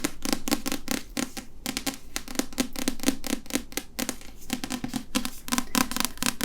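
Fingers repeatedly tap on and handle a printed paper historical romance novel, making a quick series of dull, short-ringing taps with light rustling and scratching in between. The taps are low and muted, with most of the energy in the low range.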